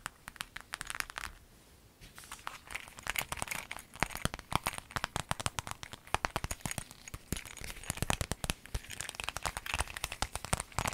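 A clear lemon-print vinyl zip pencil bag is scratched with fingernails while lying flat, then lifted and bent in the hands. Dense, crisp crinkling and sharp plastic ticks run throughout, pausing briefly near the start. The crackles carry bright, high edges over a soft low rustle.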